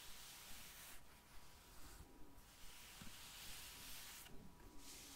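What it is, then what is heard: Plastic gel-bead eye mask. A pink vinyl eye mask filled with gel beads is held in the hands and slowly rubbed and scratched with long blue nails. The result is a quiet, steady crinkly rustle with bright, hissy scratching that comes and goes in soft swells.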